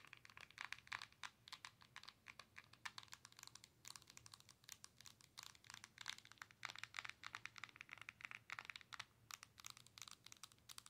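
Long nails tap and scratch the glass touchscreen of a Nintendo Switch handheld console with a plastic body. The result is a quiet, dense stream of quick, dry clicks and crinkly scratches that are bright and crisp, with no ring and almost no low end.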